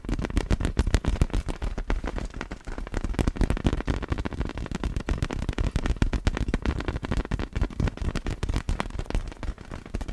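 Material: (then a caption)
Vinyl. Long black fingernails tap rapidly on a large, hollow, clear vinyl inflatable ball with glitter inside as it is moved close to the camera. The result is a dense, irregular stream of short, dull, low thumps and taps that stop quickly, with little high-end sparkle.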